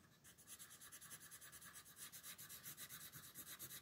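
A red wooden colored pencil shades a dinosaur's legs on a thin paper coloring book page resting on a table, using rapid repeated rubbing strokes. Each stroke gives a soft, dry, scratchy rasp that is bright and papery, with little low end. The strokes come in a steady, even rhythm throughout.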